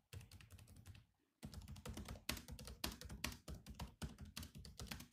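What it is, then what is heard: Laptop keyboard with plastic keys. Fingertips type continuously on a grey laptop keyboard with black plastic keys, producing rapid, irregular clicky taps with a low thump under each press and a bright click on top. The typing pauses briefly just after the first second, then resumes in quick bursts until the end.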